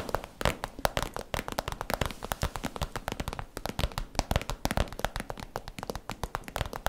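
Long manicured nails rapidly tap and scratch an iridescent holographic vinyl zip cosmetic pouch that is soft and hollow. The result is a dense stream of short, crinkly, crackling taps with very little ring, each a quick broadband click.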